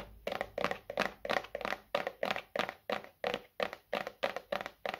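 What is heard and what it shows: A medium, hollow white plastic bottle is held in both hands and tapped on its sides with the fingertips. The result is a quick, uneven run of dull, hollow taps with a midrange tone around 570 Hz and almost no ring.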